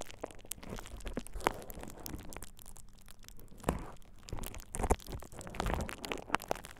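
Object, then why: Plastic bubble wrap sheet. A thin purple plastic bubble wrap sheet over the ears of a dummy-head microphone is squeezed and crinkled by fingertips. Dense, crackling crinkles and sharp little snaps come close and loud, over a soft low rustling rumble that swells and fades.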